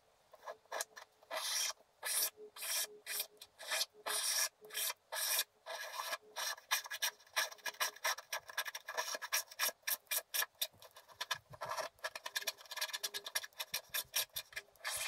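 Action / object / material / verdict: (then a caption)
scrape / black-coated scratch art paper card scraped with a wooden stylus / coated paper / none. A wooden stylus scrapes broad patches off the lower area of a flat, black-coated scratch art paper card, leaving black crumbs piled up. Dozens of short, bright, raspy scratching strokes come in quick bursts with brief silent gaps between them, over a faint steady hum.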